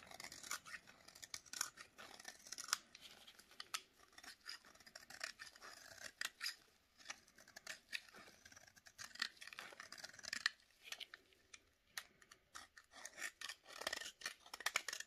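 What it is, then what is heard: Dry bar soap. A utility knife blade, held against a solid, hand-sized bar of dry yellow soap in a gloved hand, scrapes fine shavings off its edge, and they fall onto a pile on a plate. Quick, dry, crisp scraping strokes come in uneven bursts, bright and hissy with almost no low end. Each stroke stops dead with no ring.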